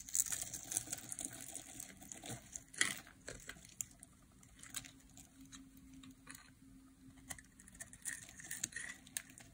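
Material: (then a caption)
Soap. A metal blade scores a grid into a solid oval bar of dry green soap held in the hand, then shaves it, with crumbs falling away. The sound is quiet, dense, bright crackling and crisp scraping, with a sharper snap near three seconds and softer patches between strokes.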